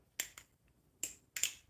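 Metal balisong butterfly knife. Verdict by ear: Loose.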